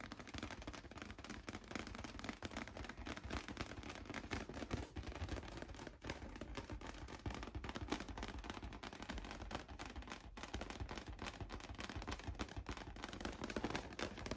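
A large, hollow, light-blue inflated latex balloon, held close, is tapped rapidly with painted fingernails. The result is a dense, continuous patter of short, hollow, low thumps with quick bright clicks, staying at a steady level throughout.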